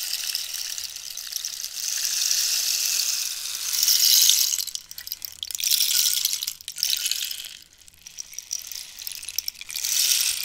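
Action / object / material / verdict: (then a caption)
scrape / dried cactus rainstick / dried cactus / none. Long nails scratch the ridged surface of a long, hollow wooden rainstick made from dried cactus, held horizontal and then tilted. The sound is a bright, hissing rattle like falling rain, with almost no low end, swelling and fading in several waves.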